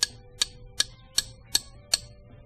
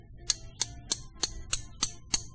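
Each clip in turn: First: lead wheel weight, dull low tap. Second: zinc wheel weight, high pitch (not lead).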